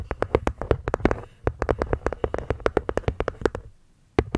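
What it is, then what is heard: Wooden box with cork lid tapped. Long nails tap quickly on the cork top and wooden edge of a small hollow hexagonal wooden box. About 28 short, dry clicks and hollow knocks with almost no ring, running in fast bursts with a brief break in the middle and a longer pause before a final tap.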